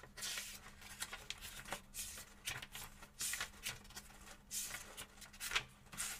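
A small paperback book is held open in both hands over a table while fingertips turn and riffle its paper pages, with a second book lying flat and untouched nearby. The result is a string of bright, dry papery swishes and flicks in quick bursts over a faint steady low hum.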